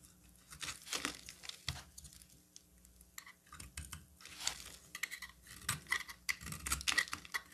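A solid, oval, cream-colored bar of soap is held in the hand and shaved with a metal box-cutter blade, curling off white flakes. The audio is a run of soft, dry scraping and crackly tearing strokes, bright and crisp with little low end. The strokes come in uneven bursts and grow slightly louder toward the end.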